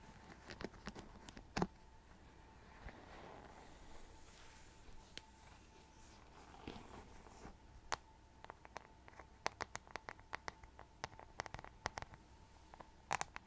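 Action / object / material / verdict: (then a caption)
tap / plastic paddle hairbrush with rhinestones and metal-tipped bristles / plastic / none. Long nails scratch the metal-tipped bristles of a rhinestone-covered plastic paddle hairbrush and tap its rhinestone back as the brush is turned over. Soft scratchy rustling is broken by many sharp, bright, quickly fading clicks that grow more frequent toward the end, over a faint steady hum.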